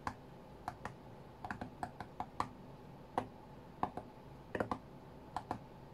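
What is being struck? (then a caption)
Glass tablet touchscreen. Fingertips tap the glass touchscreen of an iPad tablet lying flat on a cutting mat. The sharp, dry taps come in an irregular rhythm, some in quick clusters. Each has a brief knock around 730 Hz and a faint bright click that dies away almost at once over a quiet, steady background.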